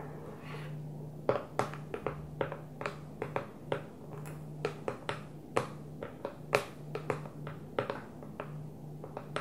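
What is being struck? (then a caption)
Plastic food storage container. Long nails tap the top of an empty, hollow clear plastic food storage container resting upside down on its blue lid. Around two dozen sharp, short clicky taps come at an uneven pace, each dying away almost at once, over a steady low hum.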